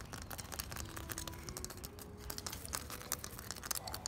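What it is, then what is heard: Ribbed clay brick wall being scratched. Fingertips and nails scratch along the grooves of an unplastered wall of hollow ribbed ceramic clay bricks with cement mortar. A fast, continuous run of dry, bright scratching and tapping clicks with a low rumble underneath, plus faint steady tones in the background.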